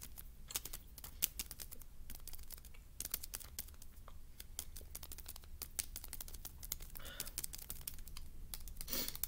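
Fingernails rapidly tap and scratch a small rectangular printed cardboard Mamba chews candy box, hollow and apparently still holding wrapped chews, held up in both hands. Many quick, dry, bright clicks and scrapes follow one another with almost no ring, over a steady low hum, with a brief crinkly rustle near the end.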